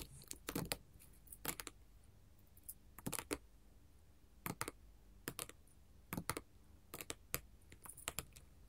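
A flat sheet of colored glass mosaic tiles is tapped and scratched with long gold metal filigree finger claws. Quick, sharp, bright clicks come in small irregular clusters, each dying away almost at once, over a faint low background hum.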